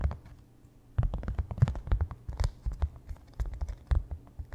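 Fingertips and nails tap and scratch quickly on a small white painter's canvas stretched over a wooden frame with a hollow back. After a nearly quiet first second, a dense run of soft, dry, hollow thumps and short scratchy clicks begins, each dying away almost at once. The sound stays low and muffled throughout.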